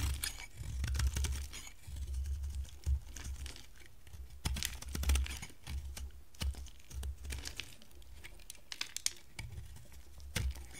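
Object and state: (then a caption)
Bar of dry soap being carved. A square, solid, hand-sized bar of dry white soap is held in the hand while it is shaved and carved with a box-cutter blade. Crisp, bright scraping and crackly flaking sounds come in short bursts over a low, steady rumble, with occasional sharper clicks as the blade bites in.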